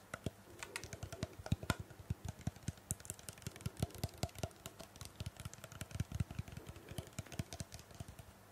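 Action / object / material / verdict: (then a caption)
tap / plastic trigger spray bottle / plastic / none. A small, hollow black plastic trigger spray bottle, its fill level not visible, is held in the hand and tapped and scratched with long painted fingernails close to the microphone. The result is a rapid, irregular stream of dry, clicky taps with dull low thumps, each dying away almost instantly, over a soft scratchy rustle.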